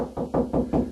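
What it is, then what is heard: Hollow drywall cavity. Knuckles tap along a drywall wall, moving away from the stud, making four dull knocks that show the spots are hollow. Each knock is low and hollow-sounding and dies away quickly, showing an empty wall cavity between studs.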